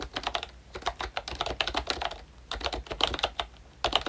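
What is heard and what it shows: Fingertips of both hands type on a full-size pink Disney Mickey Mouse retro keyboard made by ROYCHE, a plastic-cased membrane keyboard with round dark green plastic keycaps. The result is a fast, irregular run of short, bright, soft-edged plastic taps and clacks with almost no ring. Brief pauses break up the bursts of typing.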